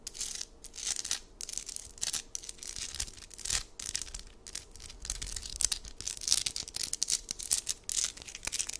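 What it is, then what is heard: Amethyst geode cluster. A hand-sized amethyst geode slab, solid stone with purple crystal points, is held in the palm and scratched and tapped with long acrylic nails. Fast, bright, dry scratching and crisp clicking taps run in dense, uneven bursts, with almost no low end and no ringing after each contact.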